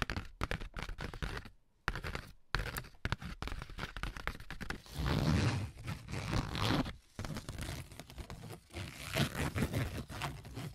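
A sheet of ribbed corrugated cardboard, first held up and then laid down, is scratched and tapped with AA batteries worn like long nails. Rapid crackly taps and dry, rough scraping run throughout, with longer, denser scratching passages in the middle and near the end. The sound is heavy in the low end, with short-lived hits that fade almost at once.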